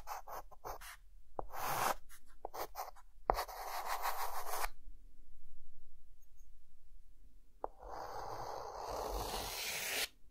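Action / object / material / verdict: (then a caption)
scrape / chalk stick on chalkboard / chalk / none. A white chalk stick, held sideways in the fingertips, draws a small house on a flat dark green chalkboard. Quick, bright, scratchy strokes give way to longer, broad rasping sweeps, with a few sharp taps as the chalk meets the board.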